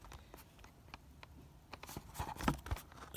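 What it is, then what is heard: Plastic blister pack on cardboard card. A fingernail and fingertip tap and scratch the clear, hollow, thin plastic blister of a Marvel Universe action figure package, held in hand with the figure inside and mounted on a printed cardboard backing. Nearby packages go untouched. Quiet, irregular dry clicks and crinkly scratches build in loudness toward the end, each dying away almost instantly.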